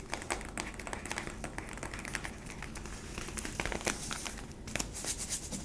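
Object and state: Plastic sweetener tub.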